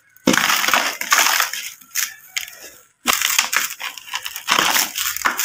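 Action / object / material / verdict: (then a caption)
scrape / compacted sand chunk / sand / none. Gloved fingertips scrape and crumble the edge of a large, solid, dry, compacted sand or dust block, about fist-to-brick size, sitting in a red plastic tub, crushing and rubbing the same chunk so loose grains fall. The result is dense, bright, gritty crackling and crunching in two long bursts separated by a brief near-silent pause, with little low end.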